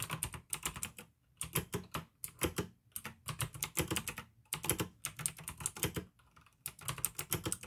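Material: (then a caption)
Plastic. Fingertips type fast on a full-size pink plastic AUKEY mechanical keyboard with RGB backlight, clicky blue switches and a hollow case. Bursts of bright, sharp clicks ride over a hollow low thud, broken by brief pauses.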